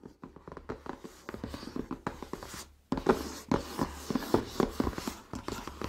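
Fingertips and short nails tap and scratch the top of the lid of a closed, hollow, shoebox-sized pink rigid cardboard Glossybox beauty box resting on a dark towel, its contents unseen, and then both hands lie flat and rub it. Quick, dull, hollow taps with a low-mid body and little brightness land in rapid clusters over soft scratching. After a brief near-silent pause, the tapping and rubbing return louder and fuller.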